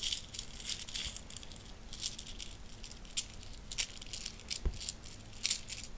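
A handful of mixed solid metal coins is swept together by fingertips on a bedsheet, gathered into the palm and shaken in a loose fist. The result is a quiet, steady stream of bright, short metallic clinks and jingles over a soft low rustle, with a few sharper jangles standing out.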